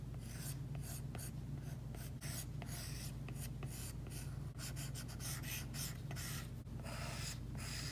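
An Apple Pencil's hard plastic tip strokes across an iPad's glass screen fitted with a matte screen protector. The result is a continuous run of scratchy, rubbing pencil strokes with bright, papery bursts that start and stop over a steady low hum.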